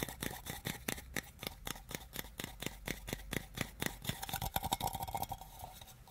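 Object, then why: Small open tin can. A small, empty, open tin can with ridged metal sides is held in the hands while fingertips and nails tap and handle its rim and sides. About 29 quick, dry taps with a faint hollow metallic ping sound one after another, each dying away almost at once. Near the end the tapping grows faster and denser, with a steadier tinny tone.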